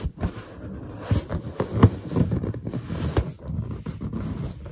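Long nails tap and scratch a large, hollow, inflated white latex balloon with both hands. The result is a dull, low, hollow patter of quick taps mixed with scraping and rubbing, the taps dying away almost at once.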